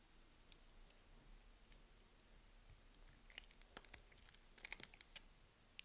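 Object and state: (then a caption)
Soap bar being shaved and cut. A solid pink soap bar, held in the hand, is shaved with a metal blade, and grid-cut cubes and slabs crumble off as the blade scrapes across it. Faint, sharp crackles and crisp clicks sound over a low, quiet hiss. They are sparse at first, then cluster more densely in the second half.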